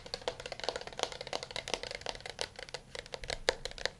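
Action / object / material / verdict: tap / smartphone in a plastic case / plastic / none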